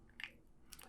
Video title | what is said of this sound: Ep14: Master Lock 410 Lockout/Tagout (LOTO) Padlock | when you shake it, you can hear the key pins rattling around inside of the hull